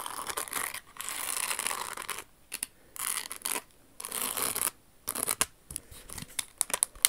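Long acrylic nails tap and scratch a crystal-embellished silver Jimmy Choo rhinestone pump, working over its crystal toe ornament and metallic silver insole. Bursts of bright, hissy scratching alternate with brief silences and sharp, crisp clicks that have almost no low end.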